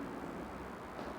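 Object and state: Nothing is struck.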